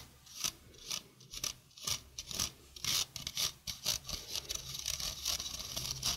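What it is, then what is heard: Stainless steel mesh sink strainer being scratched. A stainless steel mesh sink strainer is held close to the microphone while fingers and nails rub and scratch across its mesh. The result is a quick, irregular run of bright, raspy scratching bursts, each brief and dry, with little low end beneath the high hiss.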